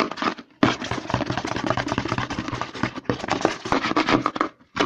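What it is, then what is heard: Plastic lotion bottle. Fingertips and short nails rapidly scratch and tap the embossed side of a white plastic CeraVe lotion pump bottle held sideways and upside down. The result is a dense, fast run of dry plastic clicks and scratchy rustles, with brief pauses near the start, around the three-second mark, and just before the end.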